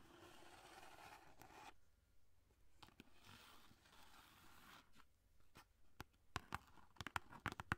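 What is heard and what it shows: Long painted nails scratch and tap along the surface of a long, hollow, tube-like orange cardboard box holding a roll of aluminum foil, held in both hands in front of a microphone. Soft, steady scratching and rustling fill the first part, then give way to quieter brushing. Sharp, bright taps come faster and louder toward the end.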